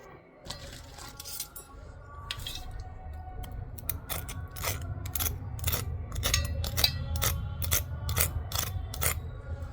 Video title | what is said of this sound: Magh Purnima vlog..Homemade suji aate k biscuits withour oven within 15 mins kheer puri bhog | आवाज से पता चल रहा है कितने कुरकुरे